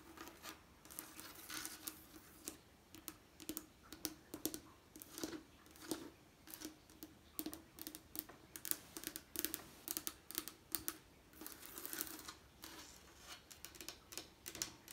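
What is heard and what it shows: Fingertips and nails tap and scratch the textured coloured glass panes of a leaded stained glass window set in lead cames, and near the end the hand moves close to its green wooden frame. Quick, quiet, bright clicks and scratchy rustles come in a steady irregular patter, each with a faint low ring around 330 Hz that dies almost at once.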